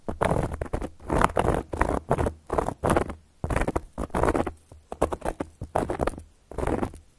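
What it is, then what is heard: Cork board scratched with nail caps. Long gold metal claw nail caps scratch across a solid, round, flat cork board in a series of separate rasping strokes. Each stroke is a short, dry, broadband scrape that stops sharply between passes, over a faint steady low hum.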